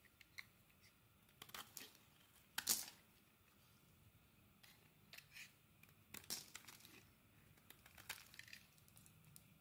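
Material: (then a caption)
Soap. A metal utility blade scrapes thin slices off a solid purple soap bar held in the hand. Quiet, bright, crisp shaving sounds come in short, irregular bursts, with a few louder scrapes standing out against near silence.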